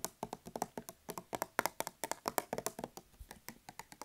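Fingers tap and scratch on a hand soap dispenser, producing a quick, uneven run of about 26 short, dry clicks. The clicks are bright and mid-pitched, each dying away almost at once.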